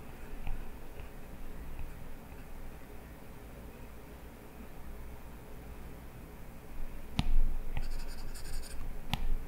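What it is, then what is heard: Stylus scratching a glass tablet screen. A plastic stylus tip scratches across an iPad's glass touchscreen while drawing hair lines, making a soft, steady scratching over a low hum. Near the end the strokes grow louder, with a few sharp, bright taps of the tip on the glass.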